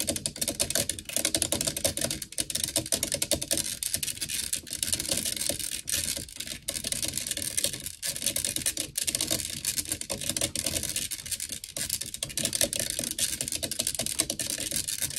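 Long nails rapidly scratch and tap the black metal mesh grille on the hollow head of a blue desktop microphone, using the fingertips of both hands. The result is a dense, continuous stream of bright, crisp clicks and scratchy rasps, mostly high-pitched with little low end. Each tap dies away almost instantly.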